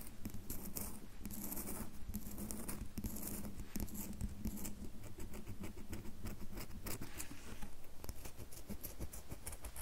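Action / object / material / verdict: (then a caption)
scrape / bar of soap / soap / none. Long fingernails scratch and tap the carved surface of a solid red bar of soap held upright. A dense, continuous run of dry scratching and soft patter fills the clip at a steady low level, weighted toward low frequencies with faint bright ticks above.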